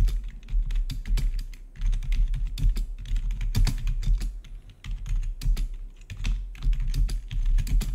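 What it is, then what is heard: Plastic membrane keyboard being typed on. A full-size black plastic membrane-style gaming keyboard with blue-to-red RGB backlit keys is typed on rapidly by the fingertips of both hands. The result is a dense stream of short, dull key clacks with a low thump beneath, in quick irregular bursts with brief pauses.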